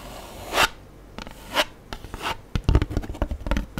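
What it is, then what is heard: Styrofoam food tray. Long acrylic nails scratch and rub across the dotted surface of an empty black styrofoam (polystyrene foam) cheese tray held upright in the hands. Three slow, swelling scrapes are heard first, followed by a quicker run of short, dry scratches with low thumps. The sound stays close and textured with almost no ring after each stroke.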